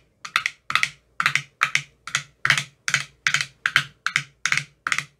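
A metal rod with a white tip taps into various teal silicone cells of an empty, clear plastic ice cube tray. The result is a quick, uneven run of dry, bright clicks, often in close pairs, centered around 1.6 kHz with almost no low end. Each click dies away almost instantly.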